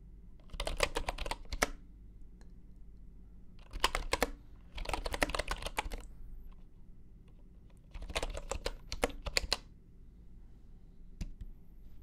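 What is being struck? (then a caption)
Bamboo computer keyboard with wooden keycaps. A full-size bamboo computer keyboard with wooden keycaps, lying on a grey carpet mat, is typed on with the fingertips of both hands. Bursts of quick, dry, short clicky keystrokes come in four spurts with quiet pauses between, then a single stray click near the end. A faint low hum runs steadily underneath.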